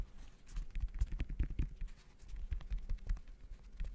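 Fingertips tap rapidly on the woven synthetic mesh upper of a gray Jordan Horizon-style high-top sneaker, held hollow and empty in front of the mic. The result is a quick, irregular patter of soft, dull thumps, almost entirely low in pitch, each dying away at once with no ring.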